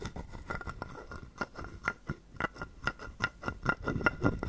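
A wooden stick is rubbed across the ridges of a hollow carved wooden frog guiro held in the palm. It produces a string of short, dry rasping strokes in an uneven rhythm, each carrying a hollow woody tone near 1.4 kHz with a little bright edge.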